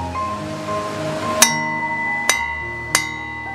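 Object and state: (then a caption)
Good-quality steel kitchen knife. A special steel kitchen knife with a chicken-wing wood handle is tapped three times to test it, each tap giving a bright metallic clink with a clear ringing tone near 2 kHz that sustains after the strike. The long ring marks it as a good-quality knife, since the longer the sound rings after the tap, the better the knife.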